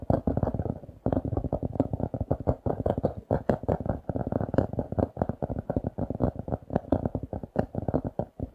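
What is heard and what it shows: Fingertips and nails tap and scratch a paper notebook's glossy laminated cardboard cover, held upright. Rapid, dry, muffled taps and brief scratches come in a dense, uneven stream. They are mostly low and midrange, with almost nothing bright above, and each one dies out almost at once.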